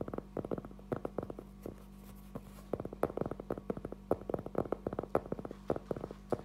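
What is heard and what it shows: A round, flat, solid cork trivet about 20 cm across is held upright in both hands and tapped and scratched with fingertips and short nails. Irregular bursts of soft, dull, short taps with no ring come over a faint steady low hum, with a quiet lull in the middle before the tapping picks back up.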